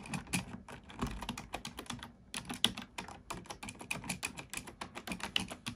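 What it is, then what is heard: Plastic computer keyboard being typed on. Fingertips type on a black plastic computer keyboard, producing a steady run of quick, dry, bright key clicks with very short decay and a light low thump beneath. The typing closes with single keys being pressed one at a time.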